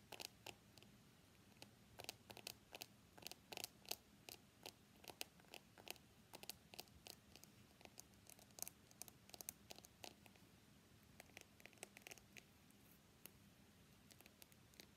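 Fingertips and nails tap the glass back of a small, solid white iPhone X with a steel frame, held upright in both hands, before the phone is tilted toward its edge. Dozens of quiet, sharp, bright clicks land in quick, irregular bursts, each dying away almost at once. A faint, steady low hum sits underneath.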